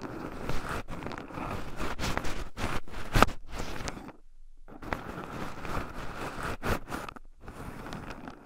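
Two wooden chopsticks stir and poke through a small wooden bowl heaped with raw shelled pine nuts, with two black microphones buried in the pile so the nuts also rub against them. A dense, close-up granular rustling and scratching plays throughout, with sharp clicking jabs and a brief near-silent pause in the middle.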